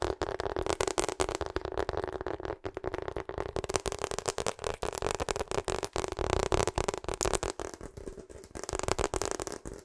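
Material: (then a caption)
Rubber. Long acrylic nails tap and scratch rapidly on the face of a hollow pink rubber hot water bottle held behind the microphone. The result is a dense, continuous stream of short, dull taps with crackly scratching, carrying a steady low tone around 380 Hz.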